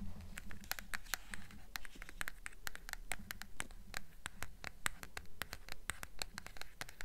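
Long nails rapidly tap and scratch the paper dust jacket of a blue hardcover book, first on the front cover and then the back. The result is a quick, uneven patter of short, bright clicks with a soft scratchy hiss between them, all over a steady low hum.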